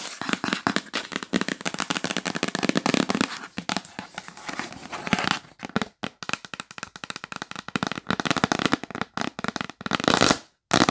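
Fingernails tap and scratch rapidly on the lid of a yellow printed cardboard gift box, first lying flat and then held. A dense, dry crackle of quick clicks and scraping fills the first half, then breaks into sharper, more separated taps with brief gaps, ending in a short burst of bright scratching after a moment of silence.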